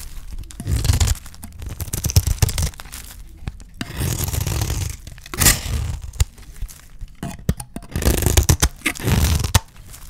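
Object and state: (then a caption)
Dry soap bar. A utility knife blade shaves the face of a solid, dry green olive soap bar into crumbly curls. Dry, crunchy scraping and tearing strokes come in repeated bursts with short pauses between them, heavy in the low end with a brittle, crackling edge.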